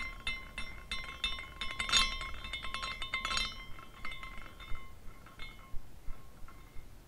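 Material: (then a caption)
Glass. A small glass carousel figurine spins, and its hanging glass horses clink together as it turns. Dense bright tinkling with high ringing tones builds to two louder clusters, then thins into sparse, separate clinks.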